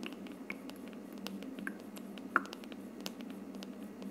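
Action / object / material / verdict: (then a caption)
tap / plastic diffuser dome / plastic / none. Long purple nails tap the side of the hollow, frosted plastic dome of a misting aroma diffuser. The result is soft, scattered clicks over a steady low hiss, with a few sharper taps carrying a short, hollow ring around 1.4 kHz that dies away almost at once.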